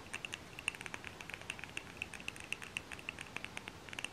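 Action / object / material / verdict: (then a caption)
tap / wax-filled glass candle jar / glass / none. Fingernails tap around a labeled glass jar candle filled with wax, held in both hands. A quick, irregular series of light, bright clicks lands around 2.7 kHz with a faint high sheen. Each tap stops almost at once with no ringing, over a quiet, steady background.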